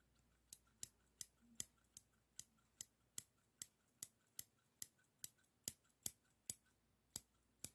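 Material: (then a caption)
Stainless steel. Small solid stainless steel straight scissors, held by the finger rings, are opened and closed repeatedly. This makes 18 crisp, bright metal-on-metal snips and clicks, each dying away almost at once against a quiet background.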